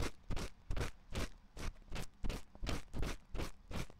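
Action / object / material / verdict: scrape / silicone ear of a binaural microphone, scratched with a wooden pick / silicone / none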